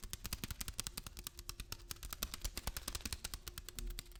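A package of lentils is tapped and handled, giving a fast, steady run of short, crisp clicks and rustles. The clicks stand out as separate hits, about 35 of them over four seconds.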